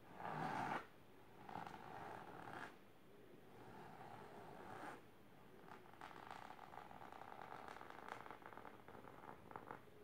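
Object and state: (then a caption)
Fabric-covered box scratched. Long silver nails scratch fast across a large pink patterned fabric-covered storage box or ottoman. The result is a dry, rasping sound with a bright midrange hiss. It comes in bursts, loudest at the start, with short quieter gaps, then rapid, uneven strokes toward the end.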